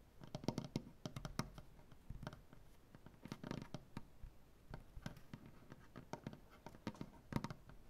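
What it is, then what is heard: Wooden butcher-block tabletop. Fingernail tips of both hands tap across a solid light wood butcher-block tabletop in a quick, typing-like rhythm. The result is a soft, irregular patter of short, dry clicks with a low woody thump and almost no ring. The taps come in uneven bursts separated by brief pauses.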